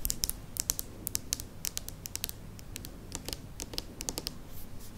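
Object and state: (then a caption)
Plastic spiral lamp. Long nails tap quickly along the curved strip of a tall white plastic spiral lamp. The result is a run of sharp, bright clicks at an irregular, fast pace over a low, soft background rumble.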